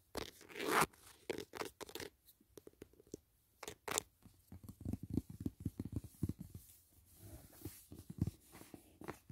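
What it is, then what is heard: Cardboard box, tapped and scratched. Fingertips and short nails tap and scratch the lid of a large, flat, closed white rigid cardboard gift box holding a Dashing Diva nail set, resting on a grey blanket. Bursts of dry, papery scratching and crackling alternate with soft, dull taps that stop quickly, all at a quiet level.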